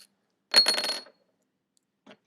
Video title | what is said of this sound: CHEM 1053 - Class 01 | thought that was plastic sounds like glass